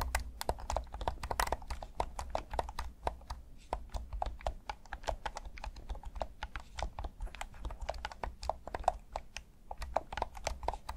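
Thumbs click the buttons and sticks of a hand-sized, hollow, black plastic PS5 DualSense controller in Midnight Black, producing a rapid, steady stream of short, dry clicks centered around 730 Hz. Each click dies away almost instantly over a low, constant rumble.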